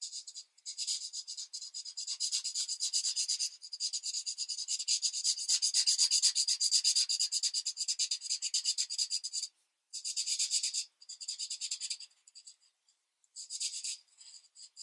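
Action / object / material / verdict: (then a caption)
scrape / felt-tip marker on a thin paper sheet / paper / none. Rapid felt-tip marker strokes rub and scratch across a thin paper coloring book page lying flat on a desk. The sound is a steady, bright, high scratchy hiss made of fast back-and-forth strokes, broken by short pauses near the end. No low sound is heard at all.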